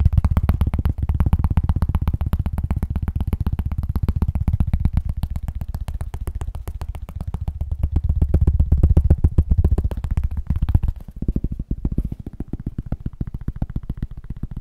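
A cork is tapped rapidly and steadily, making deep, bassy, dull thuds with almost no ring or high content. The tapping briefly softens and thins out around the eleven-second mark, then carries on slightly quieter to the end.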